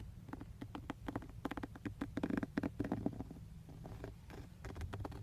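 Fingertips and short nails rapidly tap and scratch the textured black plastic airbag cover on a car steering wheel, just below the emblem. The result is a quick run of soft, dull, hollow plastic clicks and brief scrapes around 285 Hz, each dying away almost instantly over a faint low background rumble.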